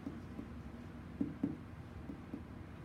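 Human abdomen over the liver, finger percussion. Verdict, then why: Dull. Percussion over the human abdomen moves upward toward the liver, and the tone changes from hollow tympany to a dull, short thud as the resonance drops away. Two distinct low taps stand out against a quiet background. This marks the normal inferior border of the liver.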